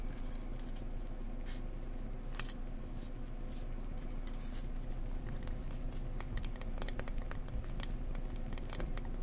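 An insulation board is tapped gently up close with fingers, giving a steady run of soft, dull, muffled taps. Some of the taps are scratchy, adding brief crisp clicks over the low thudding.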